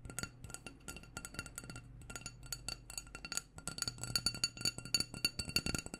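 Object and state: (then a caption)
Glass candle jar. A small black glass candle jar with a white label, filled with wax, is tapped all around with long painted nails. A quick, uneven stream of light, bright clinks, each ringing only briefly with a high glassy tone over a faint low hum.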